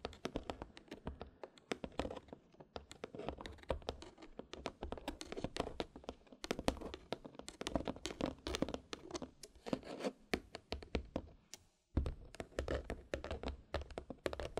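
Long pointed red nails tap and drum on the lid and sides of a small, hollow, white cardboard gift box with a lid, tied with a red satin ribbon and topped with a large black button. A quick, dense run of dry, short, hollow clicks and taps plays with a slight papery scratch, pausing briefly near the 12-second mark before continuing.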